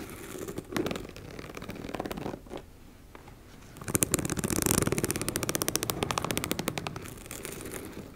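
Long red acrylic nails scratch and tap across the surface of a medium teal embossed-fabric makeup bag, soft and likely empty, lying on a wooden table. The first half has quiet, uneven scraping with a few soft taps. It then breaks into a dense run of rapid, crisp, bright ticking and scratching that continues to the end.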